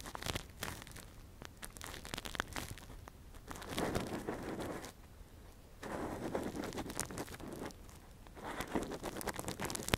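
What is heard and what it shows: A gloved hand scratches and probes inside the hollow canal of a soft, translucent, hand-sized silicone ear model covering a binaural microphone, using a thin metal earpick. Close, dry crackling and crinkling scrapes come in dense bursts, swelling into louder rustling stretches with brief quieter pauses between them.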